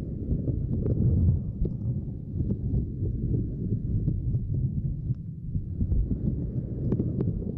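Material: Silicone.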